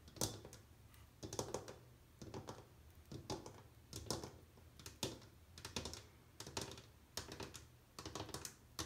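Long painted nails tap along the rim and back edge of an empty white glazed ceramic bathroom washbasin, near its metal faucet. Quick, light, bright clicks come in uneven bursts, each dying away almost at once, over a soft low background.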